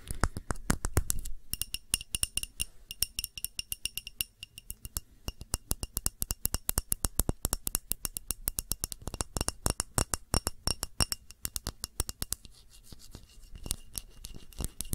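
Long nails tap rapidly on the sides of a short glass tumbler filled with red candle wax. The result is a steady stream of quick, crisp clicks with a faint glassy ring at several high pitches, each tap dying away almost instantly.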